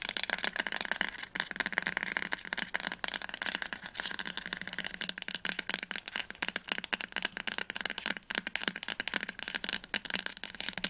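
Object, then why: Paper-covered cardboard hardcover book spine. Medium-length fingernails tap quickly on the glossy, paper-covered cardboard spine of a solid teal hardcover novel, "Das Labyrinth erwacht," held upright. The result is a steady stream of dry, crisp, bright clicks with almost no low end and no ring after each tap.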